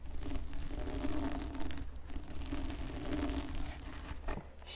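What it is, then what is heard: Sequin fabric hat scratched. Fingertips with long red-painted nails scratch and rub across a red and green plastic sequin fabric Santa-style hat with a white fluffy trim, lying flat on a wooden table. The result is a continuous soft crinkling, scratching texture over a steady low rumble and a faint hum near 300 Hz, fading slightly near the end.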